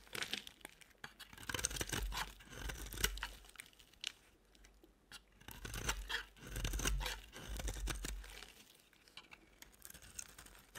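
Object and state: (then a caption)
Dry bar soap. A utility-knife blade carves shavings off the corners of a rectangular, solid, cream-colored bar of dry soap held in the hand. Dry, crunchy scraping strokes come in irregular bursts with bright, crackly edges, separated by quieter pauses over a faint low hum.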